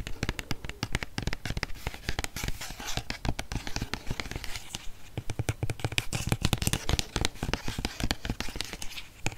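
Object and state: Plastic body wash bottle tapped and scratched.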